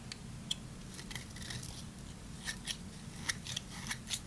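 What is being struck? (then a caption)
Bar soap shaved with a small knife. A small knife blade shaves across the surface of a solid, dry, hand-sized green bar of soap held in one hand. Eleven short, crisp, crunchy scrapes ring out bright and dry over a low, steady background rumble.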